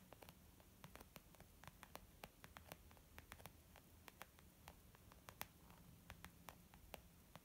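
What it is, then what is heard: Leather makeup bag. A white textured leather zip makeup bag, flat and hollow, is tapped with long painted nails and fingertips of both hands. Quiet, quick, dry clicks and taps come in an irregular stream over a faint steady hum and hiss. The taps stop almost instantly with no ring.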